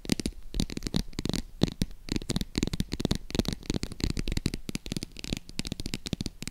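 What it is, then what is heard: Faux leather purse scratched and tapped. Long acrylic nails scratch and tap the textured surface of a medium-size green croc-embossed faux leather zip wallet purse held in the hands. A dense run of quick, dry clicks and scratchy rasps follows, with a soft low thud under each tap and a bright crackle on top.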